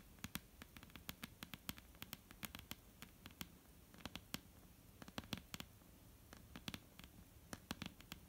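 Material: Wood.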